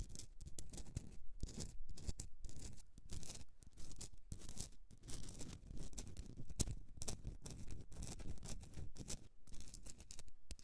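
Long nails scratch the crystalline surface of a rough pink Himalayan rock-salt candle holder held on its side. The result is a dense, gritty scratching made of quick, irregular strokes with brief pauses between bursts, spanning low rumble to bright hiss with almost no ring after each stroke.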